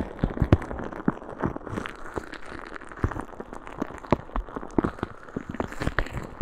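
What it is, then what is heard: Plastic bag of small beads. A clear plastic bag full of small green beads, held at the side of a microphone, is squeezed and shaken by a hand with long red nails. The result is a steady run of soft crinkling and rattling, with many short, sharp, crunchy clicks spiking out of a low, close-up rustle.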